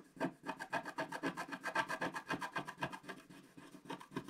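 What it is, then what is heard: Scratch-art paper being scratched. A wooden stylus scratches the black coating off a flat scratch-art paper page in dense strokes. It makes a steady, rapid series of dry, raspy scrapes, about four per second, each short with a bright, papery hiss and little low end.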